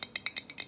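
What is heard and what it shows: A large glass mason jar is tapped with fingernails for relaxing ASMR sounds. Seven quick, evenly spaced taps come through as bright, high-pitched clicks that die away almost at once, with no low-end body.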